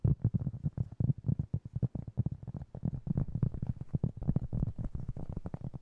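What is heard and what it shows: A round, flat, solid cork board about 20 cm across, held in both hands, is tapped and scratched with fingertips and short nails. It makes a rapid, uneven run of soft, dull, low thumps around 140 Hz, each dying away almost at once, with faint scratchy texture and almost no brightness.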